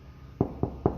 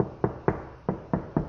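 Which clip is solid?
The first.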